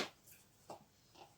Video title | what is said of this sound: Resin With Dad 49 @d.s1311 #resinmolds #resin #artsandcrafts | rock solid, and considering it's only a thin base, that's a good thing. It even sounds like glass.